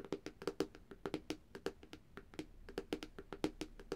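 A flat black Samsung tablet, a thin solid device with a reflective glass screen, is tapped rapidly with long dark-painted nails and fingertips. About 26 quick, dry taps are heard, each a sharp click with a short, slightly pitched tone around 390 Hz. The taps come in an uneven rhythm and die away almost at once.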